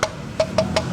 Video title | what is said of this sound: Wajib Untuk Dibeli ‼️ Swing Arm WE3 Yamaha FIZR ini Beda Dari Yang Lain | Jadi ini termasuk swing arm yang tebal, padat, dan solid. Tuh ketika diketuk suaranya seperti ini.